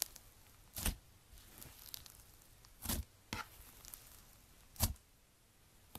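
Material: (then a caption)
Slime. Fingertips with long nails press and poke into a hand-sized blob of pastel crunchy iceberg slime (blue, pink, yellow and white) with a dried, crusty top layer on a white table. Several short, crisp crackles with a bright, tearing edge stand out over a quiet background as the crust cracks.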